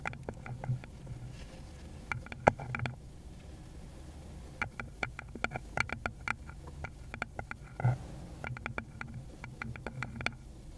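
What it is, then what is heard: Wooden bowl. Long pointed nails on a gloved hand tap and lightly scratch a small, rounded, likely hollow wooden bowl. Bursts of quick, dry clicky taps with a bright edge and a hollow woody tone stop short without ringing. Soft scratching and a low, steady rumble fill the gaps between them.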